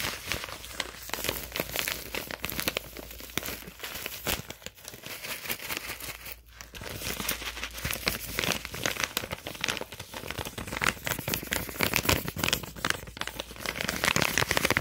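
A hollow, partly full stand-up foil and plastic snack pouch is crinkled and squeezed with fingers and waved in the hand. The result is a dense, continuous run of bright crackling and crinkling with short sharp snaps, a brief lull around the middle, and louder crinkles toward the end.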